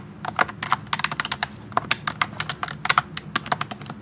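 Fingertips type continuously on a pink plastic wireless keyboard with round typewriter-style keycaps, set in front of a tablet. About two dozen quick, bright plastic clicks arrive in an uneven rhythm, each cutting off sharply with almost no ring.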